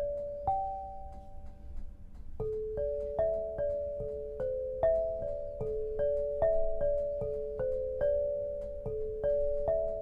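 A melody is played on an 8-bar lithophone of solid black granite slabs, tuned to 432 Hz and set on a low frame, struck with two soft-headed mallets with red and green balls on wooden sticks. Each strike gives a clear, bell-like tone in the low-mid range that rings for about two seconds. The notes overlap into a steady, resonant tune.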